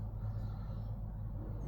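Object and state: Nothing is struck.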